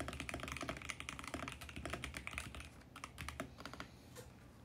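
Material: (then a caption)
Plastic. Fingertips type steadily on a VGN X68 compact mechanical keyboard with plastic keycaps on a mint plastic case. Crisp, bright clacks with short, dry decays come in a fast, uneven run, with a low thock under each press. The typing eases to a sparser, quieter pace toward the end.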